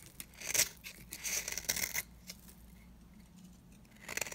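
A blade shaves thin curls and flakes off the face of a round, cream-colored, solid dry soap bar, making crisp, bright scraping and crackling bursts. There is a quiet pause in the middle before the shaving resumes briefly at the end.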